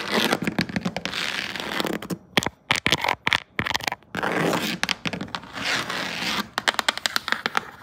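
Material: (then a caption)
Rattan wicker. Long decorated acrylic nails with metal charms tap and scratch across a flat woven rattan wicker panel, a solid broad surface like a furniture top or seat. Bursts of dense, bright scratching alternate with quick, sharp clicking taps that stop dead with no ring.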